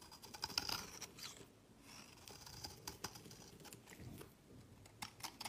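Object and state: Bar soap being shaved.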